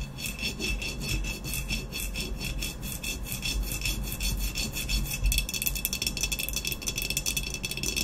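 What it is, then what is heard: Ceramic vase. Long nails rapidly tap and scratch the body of an upright, hollow, black textured ceramic vase. The result is a dense, continuous patter of bright, dry clicks mixed with rasping scratches over a steady low rumble. The tapping grows busier and slightly louder after about five seconds.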